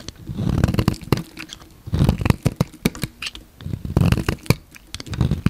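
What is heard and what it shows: A solid pink bar of soap held in the hand is shaved with a utility knife blade, the flakes piling up. Soft, low, rumbling scrapes rise and fall in repeated strokes, dotted with sharp, dry crackling snaps as the blade cuts through.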